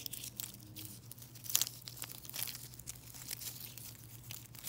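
A plastic mesh bag full of silver foil-wrapped chocolate coins is squeezed, scratched and crinkled with long nails and fingertips. It makes a continuous stream of bright, crisp foil crinkles and scratchy rustles, with one sharper crunch in the middle, over a faint steady low hum.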